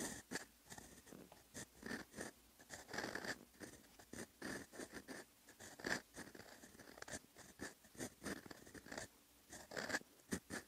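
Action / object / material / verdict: scrape / steel fountain pen nib on a paper sheet / paper / none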